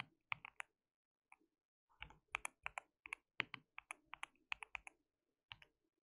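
Fingertips of both hands type continuously on a white mechanical keyboard with plastic keycaps. Short, sharp, bright clicks arrive in quick bursts with brief pauses between them, each dying away almost instantly with almost no low end.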